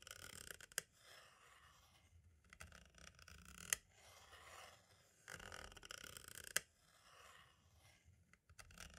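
A green-and-black striped tool scratches and traces along the label on the right side of a hollow plastic compact cassette shell. Soft, bright, papery scraping comes in uneven strokes, punctuated by three sharp clicks.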